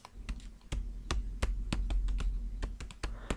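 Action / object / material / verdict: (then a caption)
tap / plastic-wrapped flour packs / flour / none. Tapping on packs of flour wrapped in plastic gives a quick, irregular run of short, dull taps with a deep, bassy thud under each one. The taps die away almost at once.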